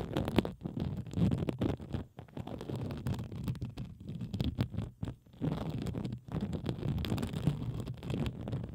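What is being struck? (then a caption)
Plastic bubble wrap sheet. Fingertips and long acrylic nails scratch across a sheet of pink plastic bubble wrap draped over the microphone. The result is a dense, low, muffled rustling and scratching with quick crackly bursts and a few brief pauses.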